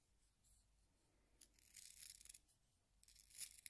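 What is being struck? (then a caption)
Wooden pencil in a plastic handheld sharpener. A solid yellow wooden pencil is twisted by fingertips inside a small handheld pink plastic sharpener, the blade shaving the wood. After a faint start, two bright, hissy scraping bursts of shaving are heard, with little low end and no ring after each stroke.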